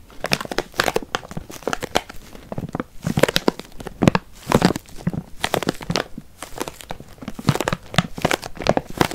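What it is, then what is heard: Bag of walnuts. A stand-up paper-plastic bag full of walnuts is crinkled and squeezed with the fingertips, producing dense bursts of broadband crinkling. The nuts shift and knock softly inside the bag throughout.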